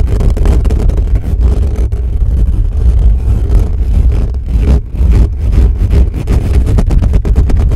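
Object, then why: Metal mesh microphone grille. Fingertips of both hands cup and scratch fast and hard at the bare metal mesh grille of a black condenser microphone with a hollow head, partly covering it. The result is a loud, continuous, boomy low rumble of rapid scratches, almost all of its energy in the deep bass and sounding like a revving engine, with a brief dip in level near the five-second mark.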